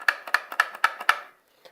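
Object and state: Broken airsoft magazine with a loose inner part.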